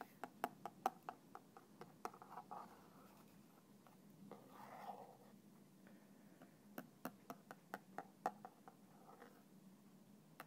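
A thin black stick taps and scratches the side of a small, translucent plastic bottle with a red cap that stands upside down and is partly filled with clear liquid. Quiet, sharp plastic clicks arrive in irregular bursts, with softer scratching in between. Each tap dies away almost instantly, over a faint low background hum.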